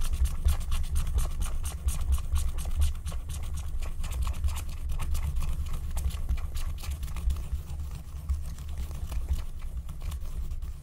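A wooden stylus scrapes the black wax coating off a flat, thin wax-coated paper scratch-art card in repeated scratching strokes. Quick, uneven, bright scritches ride over a steady low rumble, holding a fairly even level throughout.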